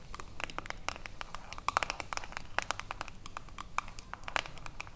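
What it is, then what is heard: Metal jar lid tapped with fingernails. Long acrylic nails rapidly tap and scratch the ridged edge of a silver metal screw lid on a small, full glass cream jar. The result is a quiet, irregular stream of sharp, bright clicks with very short ring, some with a faint metallic ping around 1.3 kHz, mixed with a fine scratchy rasp over a low background rumble.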